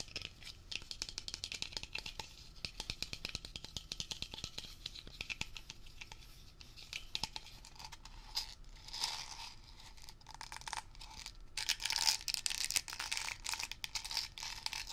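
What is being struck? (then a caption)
Plastic cap on a metal aerosol can. Fingertips and nails tap and scratch the hollow, ridged blue plastic cap on top of a metal Blue Coral aerosol can, held up close. Fast, dense clicks and scratchy rasps run throughout, with bright hiss-like texture dominating and brief swells of louder scratching toward the end.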